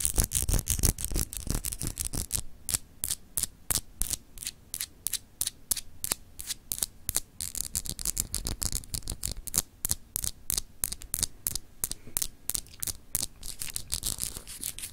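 Long acrylic nails scratch and tap a palm-sized, hand-held solid clear glass globe paperweight with etched, raised continents. A rapid, irregular run of about 60 short, sharp clicks and scrapes rings bright and high and dies away almost instantly, over a steady low hum.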